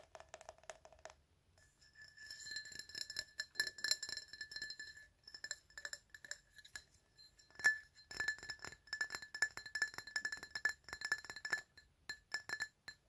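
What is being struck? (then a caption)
Glass item. Glass items are tapped in a quick, irregular run of light clinks over about 13 seconds. Each tap gives a short, bright ring with a steady tone near 1.7 kHz and high shimmering overtones. After a softer, lower-pitched opening flurry, the taps settle into the glassy pattern, with a sharper, louder clink near the middle.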